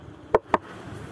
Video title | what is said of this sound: Apicoltura CD: Reintegro scorte, pesatura alveari e controllo mortalità delle api in inverno | possiamo dare un colpetto si sente già il ronzio